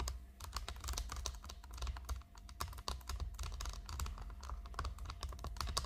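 Long acrylic nails of both hands rapidly tap and scratch a flat, rectangular, hollow makeup palette shaped like a chocolate bar, with a shiny gold metallic plastic finish, lying on a pink tablecloth. The result is a dense run of quick, bright, clicky taps mixed with short scratchy strokes, each dying away almost instantly, over a steady low hum.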